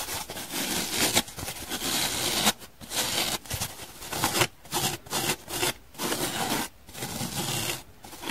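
A dry, hand-sized, blue and white donut-shaped foam sponge with drawn sprinkles has its white top surface scratched by long nails and fingertips. The result is bursts of bright, broadband rasping and scraping broken by short quiet gaps, in an irregular rhythm.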